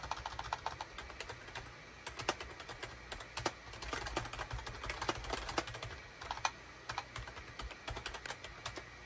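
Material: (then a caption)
Plastic. A full-size gray, cream and orange SHIPADOO K600 wired USB plastic keyboard with a hollow plastic housing sits on a desk mat while its keys are typed rapidly with the fingertips of both hands. The result is a dense run of short, sharp, bright clacks with almost no ring, over a steady low hum.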